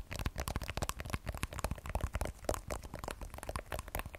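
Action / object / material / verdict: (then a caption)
tap / smartphone with glass back and steel frame / glass / none. Long nails tap rapidly on the matte glass back of an iPhone 12 Pro with a steel frame and the Apple logo, held sideways in both hands. The result is a quick, continuous stream of short, dry clicking taps with a soft low thump and almost no ring.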